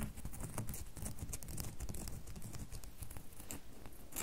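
Long nails tap quickly on the faces of a solid red bar of soap held over a table. The result is a steady patter of dull, muffled clicks, heavy in the low end with only a faint bright edge, and each tap dies away almost at once.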